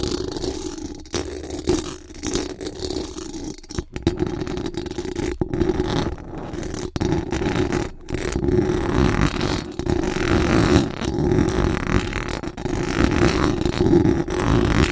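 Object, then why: Metal mesh microphone grille. Very long acrylic nails scratch fast and hard across the hollow metal mesh dome grille of a large condenser microphone. The result is a dense, continuous rasping scrape with a strong low-mid body and a steady tone, broken only by a few brief dips where the scratching pauses.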